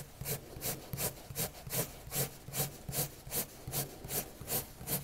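A colored pencil tip scratches and rubs across a white paper sheet on a table in dense, quick shading strokes. Each stroke is a soft, bright scratchy swish with a low papery rub beneath, repeating in a steady back-and-forth rhythm of about two and a half strokes per second.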